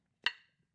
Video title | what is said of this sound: ASK THE EXPERT: How can I test if my grinding wheel is safe to use? | very dull it does not have any ringing harmonic in there so we know for a fact that wheel has a fracture inside